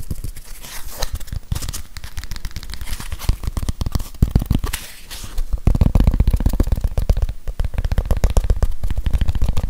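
A grey plastic whiteboard eraser with a labeled back and felt pad is turned in the hands while fingernails tap and scratch it. Rapid, irregular dry taps and scratchy crinkles mix with dull, low thuds, growing louder and denser about halfway through.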